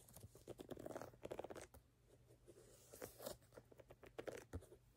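Fingernails scratch and tap the solid rubber outsole of a platform sneaker, moving across its brown ridged sole and pale rubber heel section. Quiet, dry clicks and short scrapes come in irregular clusters, with a soft steady low hum underneath and almost no ring after each tap.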